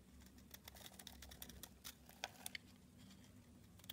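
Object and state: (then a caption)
Bar of soap being scraped. A solid purple bar of soap, held in the hand, is scraped into flakes with a red box cutter blade. Quiet, crisp, rapid scraping ticks and flicks with bright, high edges sound over a faint low hum.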